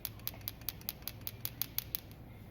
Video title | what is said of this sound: How to clean a carb on a small engine | you can hear the float in there. If your float's nice and free, it's shaking